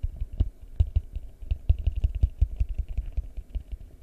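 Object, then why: Plastic bowl. A large, hollow, empty yellow translucent plastic bowl is held upside down over the mic and tapped with fingertips in a quick, uneven run. Each tap gives a deep, hollow low thump that dies away almost at once, with a faint bright click on top.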